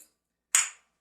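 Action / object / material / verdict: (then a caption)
tap / ceramic floor tile / ceramic / solid. A ceramic floor tile that was hollow and has been repaired by injecting grout is tapped with a ball, giving two sharp, bright clicks with a quick decay. It now sounds the same as a solid tile, showing the hollow spot is fixed.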